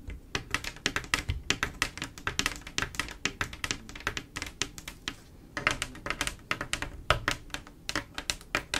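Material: Glass.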